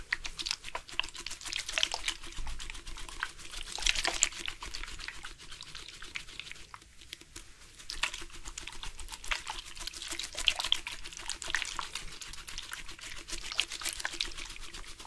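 A black, hollow, hard-plastic sports water bottle, partly filled with water and held in both hands, is tapped with the fingertips and shaken so the water sloshes inside. Rapid, dense, bright clicking taps run over a soft, continuous liquid swish, each tap dying almost instantly. The sound quiets briefly near the middle before the tapping and sloshing pick up again.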